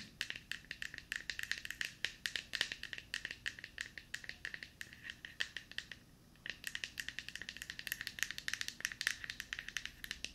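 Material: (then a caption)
Plastic. Long painted nails tap rapidly on a small, hollow, light-blue plastic deodorant stick held close to the mic. The result is a dense stream of short, dry, bright clicks with a hollow tone near 1.8 kHz. The tapping pauses briefly around six seconds, then resumes.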